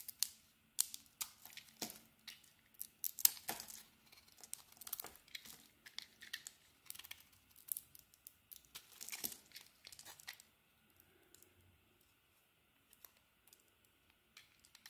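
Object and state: Soap bar being carved.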